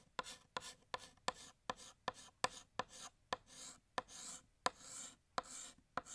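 Fingertips hold a blue chalk stick and draw a gift box on a large, flat, solid black chalkboard. Thirteen sharp chalk taps ring out, each followed by a bright, gritty scratching stroke as the chalk drags across the board.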